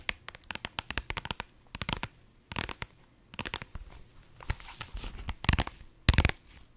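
A small, soft, hollow pink holographic vinyl pouch is held up in both hands and scratched with long nails across its glossy surface. The result is a rapid run of sharp, crackly scratches, bright with a low thump beneath, broken by short pauses. Toward the end they turn into longer, louder rasping bursts.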